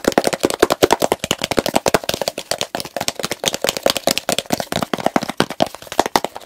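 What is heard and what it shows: Fingertips and nails rapidly tap and scratch the blue plastic lid of a medium plastic petroleum jelly jar full of pale jelly. A fast, continuous run of dry, sharp clicks and scrapes with almost no ring, a hollow plastic body around 360 Hz, and bright, crisp edges.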